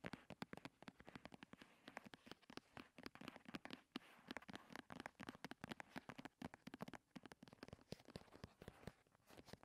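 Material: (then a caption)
Plastic. A medium-size white and turquoise plastic "bio" cream squeeze tube, lying on a purple cloth, is tapped rapidly with the long red nails of both hands. Dozens of quick, dry, clicking taps follow one another with almost no ring between them.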